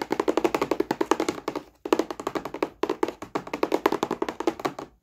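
A medium, hollow, printed cardboard board-game box (Wet Head) is held upright and tapped quickly with the fingertips and short nails, and its flap is opened partway through. About 39 fast, dry taps come in rapid runs, with brief pauses near 1.8 and 3.3 seconds. Each tap has a hollow, mid-pitched thud around 355 Hz and a bright nail click that stops almost instantly.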